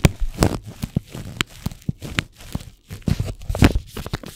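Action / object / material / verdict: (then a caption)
scrape / paper tea bag packet / paper / none. A single small, flat, hollow paper tea bag wrapper (Caramel Apple Pie) with a sealed tea bag inside is held in both hands and crinkled and rubbed with the fingertips. Dry, papery crackles and short tearing-like crinkles come in quick, uneven bursts, with soft rubbing between them. The sound stays close and mostly low in body, with brief bright edges on the sharper crinkles.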